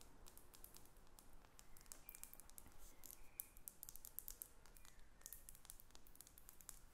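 A small, hollow, faceted glass perfume bottle with a metal cap is held and turned in the hands while long acrylic nails tap on it. The result is a quiet stream of rapid, bright, clicky taps that stop almost instantly, over a soft low rumble.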